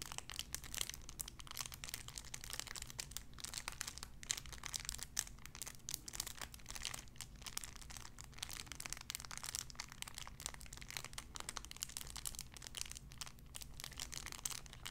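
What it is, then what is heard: Cellophane wrapper. Fingertips squeeze and crinkle a clear cellophane wrapper around a small sun-shaped figure. The result is a quiet, continuous stream of sharp, bright crackles over a faint, steady low hum.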